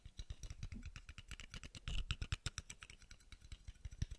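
A small, hollow, round steel screw cap is held up close and tapped quickly with fingertips and nails, giving some thirty short, quiet taps. Each tap is a soft, low thump topped with a bright click that dies away almost instantly, with no ringing.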